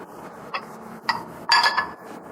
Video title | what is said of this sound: BIKIN SEDIH! DAUS MINI ULANG TAHUN TERAKHIR SEBAGAI SUAMI YUNITA! - KABAR KABARI | kalau dipukul itu bunyinya ting, itu baru kristal